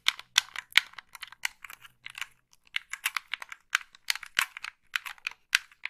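Long pink nails tap and scratch the body and buttons of a hollow black plastic gamepad held in both hands. About twenty-two crisp, bright clicks come in an irregular, quick patter, with a dry scratchy texture between them and no ring after each tap. A faint low hum sits underneath for the first couple of seconds.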